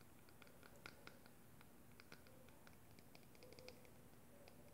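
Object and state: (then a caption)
Clear plastic cosmetic tube. Long glittery acrylic nails tap a small, hollow, clear plastic cosmetic tube with a black cap, partly filled with pink liquid and held up close. Quiet, light plastic ticks and clicks scatter through the clip over a soft, low background hum.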